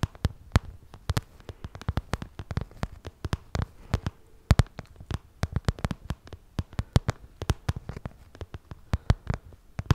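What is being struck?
Small zippered vinyl cosmetic pouch.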